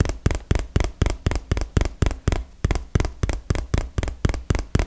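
Long fingernails tap rapidly on a small, hollow, printed cardboard retail box, making 19 quick, dull, low thuds with crisp clicky tops at a steady, slightly uneven pace. Each tap dies away almost instantly.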